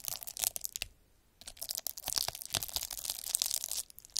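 A derma roller with a black plastic handle and a roller of fine metal needles is rolled across a flat sheet of clear, air-filled plastic bubble wrap on a table, the needles crushing and pricking the bubbles. The result is dense, bright, crisp crackling and popping with almost no low end, a brief near-silent pause around the one-second mark, then steady crunching until a short dip near the end.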